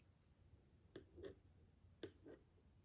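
A yellow wooden pencil is traced and tapped along the facial features on the glass of a framed drawing of a Madonna and child. Four light, quiet taps come in two pairs, each a sharp click followed by a softer, duller tick, with a short ring. A faint steady high whine runs underneath throughout.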